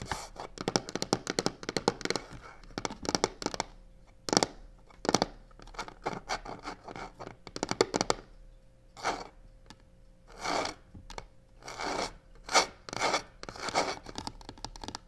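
Long nails tap and scratch the sides of a hollow black croc-embossed faux leather box with white stitching. Rapid clusters of short, dry taps come first, then longer, rasping scratch strokes alternate with sharper taps. A faint steady tone hums underneath throughout.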